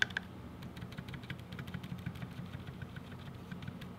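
Fingertips type on a 60% mechanical keyboard with a black case, white, lilac and blue GMK Firefly plastic keycaps, linear switches and stabilizers, lying on a white desk, pressing keys including the spacebar and modifier keys. Two sharp clacks open a steady run of quick, overlapping taps with short, bright clicks that die away almost instantly, over a low, constant rumble.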